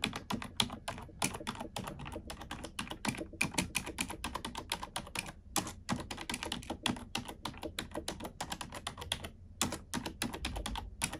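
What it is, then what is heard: Plastic computer keyboard. Long nails and fingertips type on a black plastic computer keyboard in a steady, rapid stream of bright, sharp clicks and taps with brief pauses between bursts. A faint low hum runs underneath.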